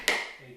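A whole coconut shell is struck once with the edge of a hammer while being tapped along a line to crack it in half. The result is a sharp, bright tap with a clear ringing tone near 1.9 kHz that fades quickly. The shell is still intact, before the hollow tone change that signals the crack.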